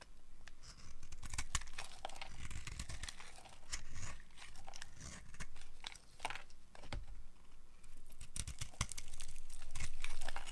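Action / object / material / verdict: scrape / bar of soap shaved with a blade / soap / none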